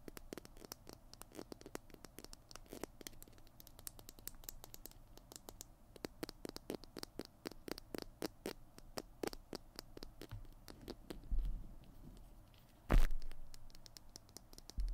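Fingernails scratch and tap rapidly along the tube of a small plastic glue stick with a blue cap, held close to the mic. The result is a dense, steady patter of soft crackly scratches over a low rumble. Near the end there is a heavier thump, then a single sharp knock that fades quickly.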